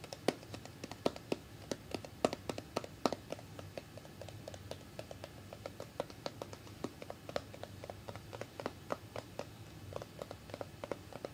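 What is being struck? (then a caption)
Small plastic cream jar with lid. Long red-painted fingernails tap and scratch the white plastic lid and sides of a small, round Dove body cream jar, held closed and full in one hand. The taps come as a steady, uneven run of quiet, dry clicks with a hollow plastic tone around 645 Hz and almost no ring. Soft scratching fills the gaps between them.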